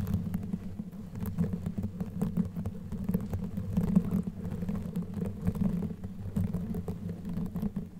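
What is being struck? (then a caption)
Knitted yarn microphone cover. Long nails on both hands scratch a black knitted yarn sleeve covering a microphone head. The result is a steady, dense stream of quick, muffled scratching and rustling, heavy in the low end, with a low hum-like texture underneath.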